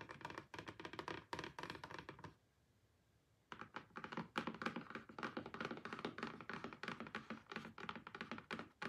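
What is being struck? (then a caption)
Rigid cardboard box. Long-nailed fingertips tap rapidly on the lid of a closed, rigid, hollow pink cardboard BLACKPINK album box, then the hands move to its sides. Dozens of quick, dry, hollow clicks and thunks are heard, with a brief near-silent pause about a third of the way in. Faint music sits in the background.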